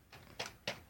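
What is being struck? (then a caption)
Plastic brick-built model train tender. Light taps on the tender of a newly built Lego plastic brick model of the Emerald Champion train. Four short, bright clicks are heard, the first softer and the later ones sharper, each dying away almost at once with little low end.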